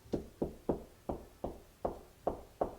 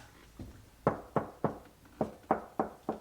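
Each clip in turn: First: solid wall over a stud. Second: hollow drywall with no stud behind.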